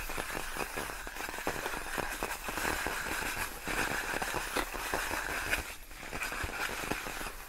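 Long nails scratch and tap on large, clear, inflated plastic air-column cushion wrap made of hollow air-filled tubes. The result is a continuous crinkly, crackling texture with small taps and a bright hiss across the whole clip, mostly steady in level with a brief dip near the end.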